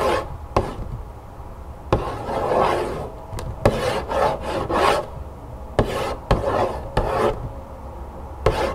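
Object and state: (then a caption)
Cardboard cereal box tapped and scratched. A hollow cardboard cereal box lying flat on a wooden table has its top face tapped and scratched with long acrylic nails. Sharp, dry taps cut through soft, rasping scratches that carry a muffled midrange body.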